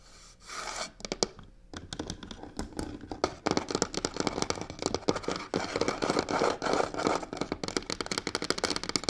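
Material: Faux leather.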